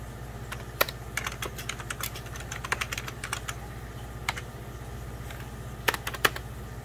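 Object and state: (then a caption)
Plastic computer keyboard. Fingertips and short nails press rapidly on a full-size 90s Packard Bell keyboard with beige plastic keys over a hollow plastic case. It gives a quick stream of sharp, bright plastic clicks, with a few louder strikes standing out, over a steady low hum. Each click dies away almost instantly.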